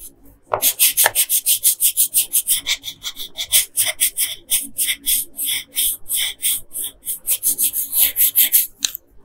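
A yellow colored pencil scratches and rubs back and forth over the hair area of a flat paper coloring page. About thirty quick, dry strokes are heard, each a bright, raspy scratch with almost no low end and no ringing after it.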